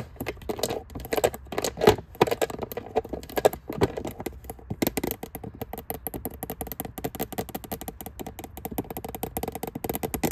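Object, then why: Plastic lidded storage box. Long nails tap rapidly on the lid of an empty, hollow, clear plastic storage box with a lid, resting on a shelf. The result is a dense, continuous stream of short, dry clicks with a hollow plastic tone around 430 Hz. A few louder taps stand out early on, and the tapping grows faster and more even after about five seconds.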